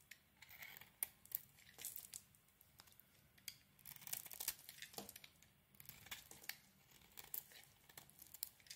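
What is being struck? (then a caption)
Bar of soap shaved with a blade. A utility knife blade shaves curls from a solid yellow oval bar of soap. Quiet, crisp scraping and crackling strokes follow one another, with a bright, papery texture and almost no low end. Each stroke ends abruptly, with no ring.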